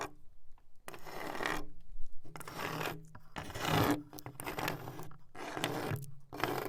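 A wooden wall is tapped and scratched with a nail fixed to a fingertip. Repeated broadband scraping strokes come in bursts with short pauses between them, underlaid by a low, dull resonance from the wood.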